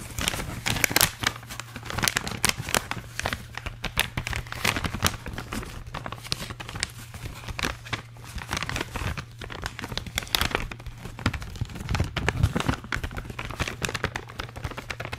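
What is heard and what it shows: A medium blue holographic metallized plastic foil gift bag, hollow and apparently empty, is held in one hand and crinkled and scratched with the fingertips. Dense, bright crinkling and sharp crackles run continuously, with a steady low hum underneath.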